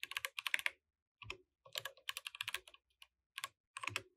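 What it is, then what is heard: Mechanical keyboard with plastic keycaps. Both hands type with their fingertips on a compact mechanical keyboard with plastic keycaps, producing quiet bursts of sharp, bright clicks that die away almost instantly. The clicks come in quick runs separated by short pauses.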